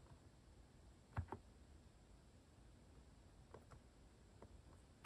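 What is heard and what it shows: Fingertips type at a slow pace on a plastic Hanmumu mechanical keyboard fitted with cat keycaps. Soft, short, low clicks come sparsely over a quiet background, with the firmest strokes near the start and at the end.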